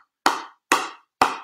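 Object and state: Hollow-sounding composite paddle.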